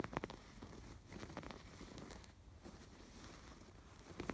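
Fingertips scratch the raised yarn embroidery on a stuffed canvas pillow, then move to its piped edge. The result is soft, quiet, dry scratching and rustling over a low rumble, with brief louder, brighter scratches at the start and near the end.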